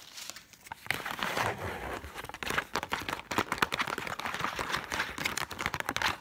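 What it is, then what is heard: Paper banknote. Long black, red and silver acrylic nails rapidly scratch and tap across a single thin, flexible Egyptian paper banknote held up in both hands. The sound is a dense stream of dry, crinkly scratches and quick papery taps, bright and mid-heavy with almost no low end. Each tap dies out instantly, with no ring.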